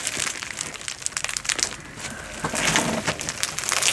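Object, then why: Slime packed with polystyrene foam beads. A handful-sized blob of soft, solid glow-in-the-dark slime packed with small polystyrene foam beads, glowing blue under UV light, is spread out, then squeezed and kneaded by hands with long pointed nails. It gives continuous sticky, crunchy squishing with dense, bright crackles and crinkles and very little low end. The clip grows louder and fuller in its second half.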